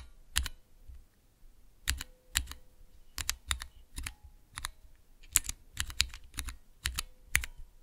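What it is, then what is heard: Mechanical keyboard switch tester with clear plastic keycaps. A small clear plastic Cherry MX switch tester with transparent keycaps is pressed with fingertips and long nails. It makes a series of sharp, bright mechanical clicks, some in quick pairs, each with a faint low thump and almost no ring.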